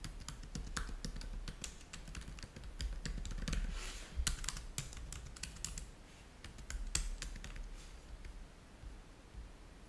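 Fingertips type on the keys of a black plastic laptop keyboard, producing a fast, irregular run of short, bright clicks and taps. Each keystroke dies away almost instantly over a steady low hum.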